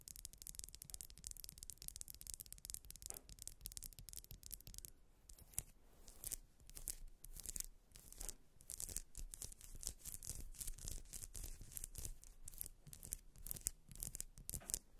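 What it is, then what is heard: Wax pillar candle. Long nails scratch up and down the spiral ridges of a grey ribbed solid wax pillar candle. The result is a dense run of quick, dry, bright scraping strokes over a low rumble. Around the middle of the clip the strokes separate into sharper rasps.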